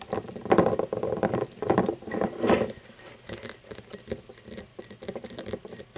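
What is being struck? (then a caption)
Cut crystal glass tumbler. Long painted nails tap the rim and base of an empty cut-crystal glass tumbler. The result is a quick, uneven run of light clicks and bright glassy clinks that die away almost at once. Denser, louder bursts come in the first half, and sparser, sharper taps follow.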